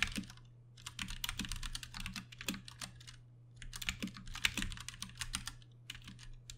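A compact 60% RGB-backlit Ducky One 2 Mini mechanical keyboard with Cherry MX Brown switches, plastic keycaps and case, and hollow switch housings, typed on steadily with the fingertips of both hands on a desk mat. Bursts of bright, short clicky keystrokes come with brief pauses between them, over a steady low hum.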